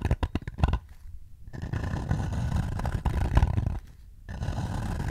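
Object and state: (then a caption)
Wooden bowl. Fingertips tap and scratch the rim and outer wall of a hollow light-wood bowl held up beside the face. A quick run of dull, low knocks opens the clip, then gives way to steady rough scratching with a low woody rumble. The scratching breaks off briefly twice before resuming.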